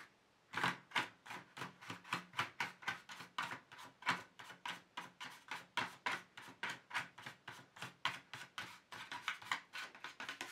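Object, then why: Empty plastic tray. Fingertips tap and sweep across the flat base of an empty black plastic paint tube tray, giving about forty quick, dry, bright taps with brushing rustle between them. Each tap dies almost at once, with a clicky midrange body and little low end.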